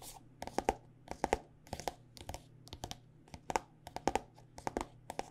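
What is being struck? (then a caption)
Plastic squeeze tube filled with lotion. Long nails tap a white plastic body butter squeeze tube filled with lotion, producing quick, dry, clicky taps in irregular bursts. Each tap carries a faint hollow tone around 785 Hz and dies away almost instantly. A steady low hum sits quietly underneath throughout.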